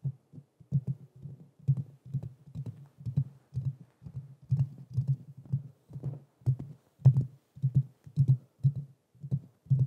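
Fingertips and nails of both hands tap and scratch the hollow metal mesh grille of a black Blue Yeti microphone. A quick, uneven run of dull, low thuds comes through with very short decay and faint bright scratchy ticks on top, sounding almost like a muffled heartbeat or drum pattern.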